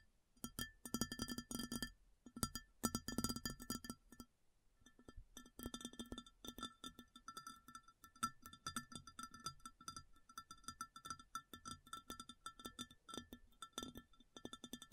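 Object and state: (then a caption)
Ceramic plate. Long fingernails tap on the surface of a large, empty round white ceramic plate, then tap and scratch along its rim. The result is dense runs of quick, clinking taps with short, bright ringing tones and a low body resonance, broken by brief pauses.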